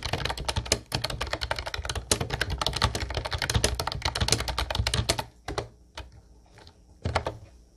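Fingertips of both hands type continuously on a mint-blue plastic Ubotie retro typewriter-style keyboard with round white plastic keycaps. A dense, rapid stream of bright plastic clicks with low thumping key bottom-outs runs for about five seconds, then thins to a few scattered key presses before stopping.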